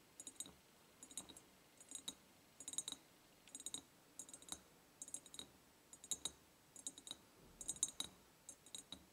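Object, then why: Ribbed glass jar. Long painted nails tap the side of an empty medium ribbed clear glass jar with a white ceramic lid and a ribbon bow. Quick, bright clicking taps come in short bursts of two or three, repeating steadily. Each tap is dry and high with almost no ring, and the whole clip is quiet.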